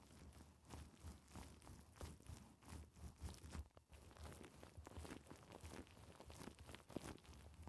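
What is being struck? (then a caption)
Faux fur microphone windscreen scratched by fingernails. Long decorated acrylic nails on both hands scratch and rub through a hand-sized, fluffy black and white faux fur windscreen that sits soft and hollow over a microphone. The result is a muffled, bass-heavy rustling and crunching, with repeated scratchy strokes swelling and fading in a steady rhythm.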